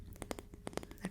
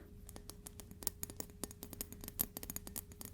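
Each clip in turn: First: wooden ruler. Second: metal ruler.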